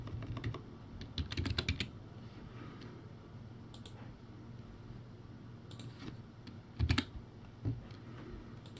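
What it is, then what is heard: Plastic typewriter-style keyboard. Slow fingertip typing on a crappy plastic typewriter-style keyboard, backlit, with round white plastic keycaps. Short clusters of clicky keystrokes come near the start and again near the end, each with a low thud and a bright plastic clack. Between them, long quiet stretches hold only a low background hum.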